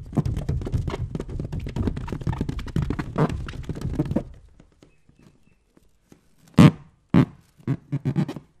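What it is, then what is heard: Water-filled rubber balloon. A hand-sized, light green latex balloon filled with liquid is held close to the microphone and scratched and rubbed with the fingertips. It makes about four seconds of dense, low, muffled rubbing and squishing thumps, then a near-silent pause. A few louder, separate rubbery squeaks and softer scratches follow.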